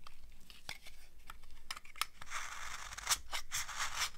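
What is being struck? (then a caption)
Soap bar scraped with a metal knife blade. A thin, dry, old beige soap bar held between the fingers is scraped with a metal knife blade. Short, bright, crunchy ticks and scratches come first, followed by longer, hissy scraping strokes as the blade shaves the hard soap. The bursts are quick and dry, with almost no ring after each one.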